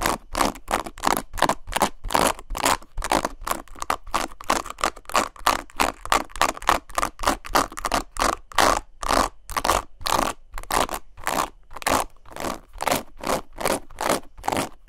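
Long nails rapidly scratch and rake the plastic bristles of a black oval paddle hairbrush with a leopard-print handle, held close to the mic. The result is a fast, steady train of short, crackly scraping strokes, centered around 1 kHz with bright hiss above and little low end, each stroke cutting off sharply.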